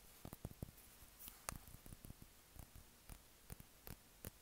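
A small dark glass perfume bottle with a black cap is held in the hand while fingertips and nails tap and scratch its glass body. Quiet, sharp clicks and brief scratchy ticks are scattered irregularly across the clip, with a few brighter taps standing out above a soft background.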